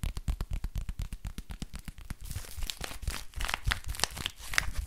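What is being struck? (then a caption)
Thin plastic crinkle book. A thin, flexible silver-grey crinkly plastic book is scratched and bent with fingertips and nails. The first half is a fast run of distinct scratching taps. It then gives way to denser, brighter crinkling and crackling with sharp high snaps.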